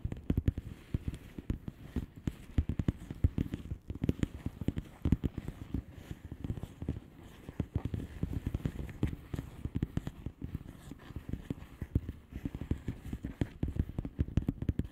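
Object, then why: Plastic bubble wrap envelope. Long nails tap rapidly on a flat blue plastic bubble wrap envelope, producing a dense, continuous stream of fast, short, dull taps. The taps are muffled and low, with little bright content.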